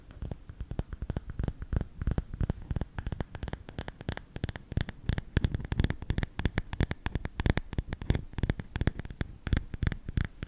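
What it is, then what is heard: Bamboo salt container. Fingernails scratch the lid of a round, lidded, hollow bamboo salt canister tilted toward the mic. The result is a rapid, dense series of short, dry, low scratchy taps with a hollow body and brief flicks of high brightness.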